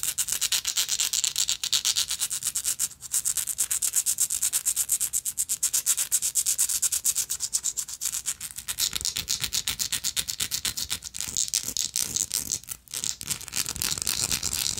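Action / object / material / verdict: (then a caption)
scrape / small textured metal lighter / metal / none. Long nails rapidly scratch a small, hollow, gold-tone textured metal lighter with a slotted end. The result is a dense, bright, rasping scrape of quick, closely packed strokes with almost no low end, broken by brief pauses before continuing.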